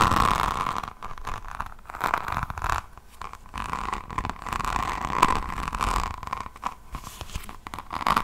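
Long nails scratch across the beaded resin cover of a resin rhinestone diamond painting notebook, which is then held at an angle. The result is a dense, crunchy, rasping scratch with a steady mid-pitched edge that swells and fades in uneven waves.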